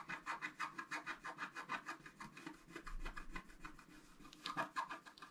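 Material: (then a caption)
Coated paper. A thin wooden stylus scratches a flat coated scratch-art card in short, quick strokes. It makes a steady run of dry, rasping scrapes at about three per second, with a papery midrange grain and some bright hiss. The pace slows briefly in the middle before a few firmer strokes near the end.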